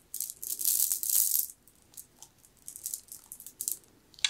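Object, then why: Jade bead necklace. A long strand of solid, round green jade beads is held in the hands, shaken and rolled through the fingers. There is a dense, bright rattle of the beads clacking against each other, then a run of scattered, sharp clicks as the strand keeps moving.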